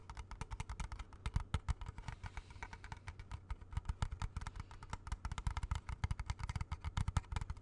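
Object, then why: Plastic game cartridge. A small hollow plastic video game cartridge, held in both hands close to the mic, is rapidly tapped with fingertips and nails. Dozens of quick, dry taps sound with a hollow low thump under crisp, bright clicks, each dying out almost instantly.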